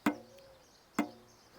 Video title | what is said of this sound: Vegh Turkish Bow 14 years old vs. new - Comparison | when everything is fine nothing is rattling it sounds solid like this one